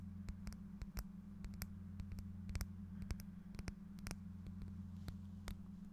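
A small, clear, solid-looking faceted glass piece is held in one hand close to the microphone and tapped and scratched with fingernails. Many sharp, brief, bright clicks and scrapes ring out over a steady low hum.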